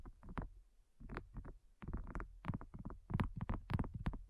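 Fingernails and fingertips of both hands tap and scratch over the surface of a flat, solid, pink textured heart-shaped silicone coaster. Soft, dull, quick taps and brushy scrapes come in uneven bursts with very little ring, sitting mostly in the low range with brief brighter flicks.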